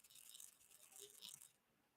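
A plastic diamond painting tray of resin drills is shaken gently from side to side so the drills flip over and lie flat. It makes a soft, bright, maraca-like rattle that fades out toward the end. Most drills are already set the right way up, and only a few loose ones slide about.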